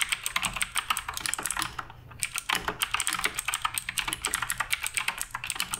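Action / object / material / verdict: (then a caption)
tap / mechanical keyboard with plastic keycaps / plastic / none. Fingertips type continuously on the plastic keycaps of a black RGB Redragon K588 Broadsword mechanical keyboard, giving about forty quick, bright clacks with almost no ring. There is a brief pause a little before the two-second mark, and then the typing resumes at a steady pace.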